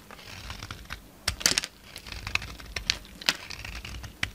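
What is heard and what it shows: A solid white bar of soap with a red coating, held in the hand, is carved and scraped with a utility-knife blade as flakes fall away. The blade makes a run of dry, crisp, bright scratching and clicking cuts, with several sharper snaps standing out over a soft, continuous scraping.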